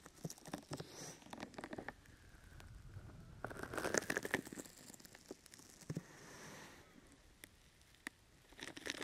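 Fingertips pat and scratch the sides of a brown, open-weave sticky foam rubber grip mat draped over a microphone. The result is soft, irregular patters and crinkly, crackling scratches in uneven bursts, with quieter rustling stretches between them.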